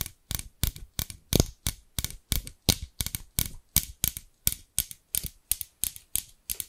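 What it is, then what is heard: Scissors with plastic handles and steel blades. Long nails tap and scratch the translucent amber plastic handles of large scissors with long steel blades, which are held upright close to the microphone. A steady, evenly spaced run of quick, crisp clicks is heard, each with a bright edge, a soft low thump and a short scratchy tail.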